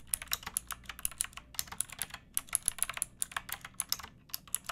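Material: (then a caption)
Plastic. Fingertips with long painted nails type on a pink backlit plastic mechanical keyboard with round typewriter-style keycaps and a hollow case. Rapid, uneven runs of bright, sharp clacks play with short pauses, each click dying away almost instantly.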